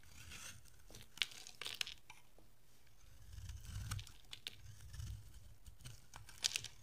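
A utility-knife blade shaves long curls off a solid green dry bar soap with a blue coated edge, held in the hand. Quiet, dry scraping and crisp crackling are punctuated by sharp, bright snaps, with a soft low rumble swelling in the middle.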